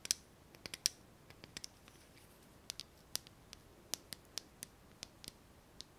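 A small pink translucent plastic lighter, held in the fingers, is tapped and scratched with long nails. About 17 quiet, sharp, bright clicks and ticks come at an uneven pace. Each dies away almost instantly, with faint scratching in between and almost no low end.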